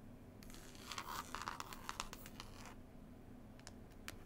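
Long pointed nails scratch and tap the green woven cloth cover of a closed, solid hardback book. A dense, bright burst of scratchy rasping and quick taps fills the first two and a half seconds, then thins out to a few isolated, crisp taps over a low, steady background rumble.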